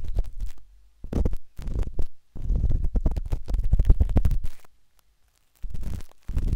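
The metal tip of a wooden-handled dot stick scratches inside the ear canal of a pale pink, soft, solid silicone ear on a binaural microphone. Close, muffled scratching and rubbing comes in bursts of rapid tapping strokes, with nearly all of the sound in a deep, low rumble. Short silent gaps separate the bursts.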